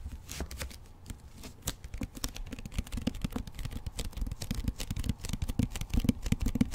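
Fingertips and nails tap and scratch the front cover of a solid hardcover book with a glossy paper dust jacket, held upright behind the microphone. Dozens of quick, irregular taps land as dull low thuds, mixed with dry, crisp scratching. Each tap dies almost instantly, with no ring.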